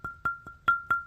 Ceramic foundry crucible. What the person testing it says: if they don't have that effect of Fine Crystal when you knock on it uh you got a crack in them need to send them back